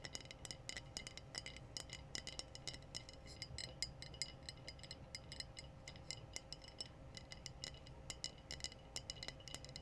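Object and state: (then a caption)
Glass bottle. Glass bottles are tapped in a quick, irregular series of light, high clinks. Each tap is bright and dies away almost instantly over a faint low rumble.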